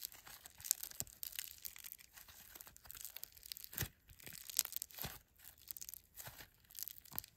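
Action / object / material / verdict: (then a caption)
scrape / foam bead slime / foam beads / none. A fist-sized lump of solid grey foam bead slime (floam) is pressed, folded and squeezed by thumbs and fingertips, crackling the beads. Dense, bright, dry crackles and crunchy pops come in quick irregular bursts, with little low end and almost no ring after each snap.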